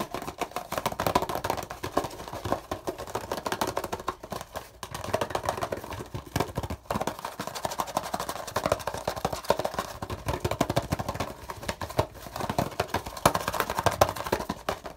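Fingertips tap quickly and nails scratch along the sides of a green printed cardboard perfume packaging box held in the hand, probably with the bottle still inside. The result is a dense, continuous stream of dry, hollow papery taps and scratchy rustles centered in the mid range around 620 Hz, with only brief pauses near the 5- and 7-second marks.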